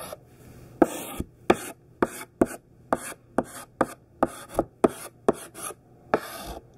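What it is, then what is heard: Chalk writing on a chalkboard. A thick pink sidewalk chalk stick held in the hand writes the word CHALK on a large, flat black chalkboard. About a dozen short, scratchy strokes and taps sound apart, each with a bright rasp and a brief, dry attack, separated by quiet gaps.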